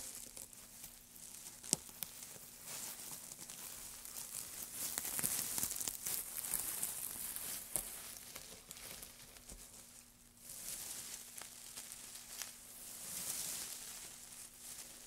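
Gloved fingertips press into, scratch through and crumple a loose pile of thin, dry wood shavings. The result is a quiet, bright, continuous crinkling and crackling that swells and fades, with a few sharper ticks and a faint steady low hum underneath.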